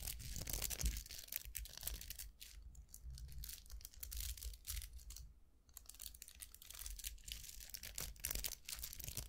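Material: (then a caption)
Plastic. Fingernails scratch and flick the dense bristles of a round styling brush with a hollow vented barrel and plastic handle, held in both hands, while other brushes lie untouched on a table. The result is a rapid, irregular stream of bright, crackly scratches and flicks, with a faint low rumble underneath and brief quieter gaps.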